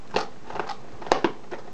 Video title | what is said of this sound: M-Edge uView Shake Test | can take quite a bit of wiggling without pulling out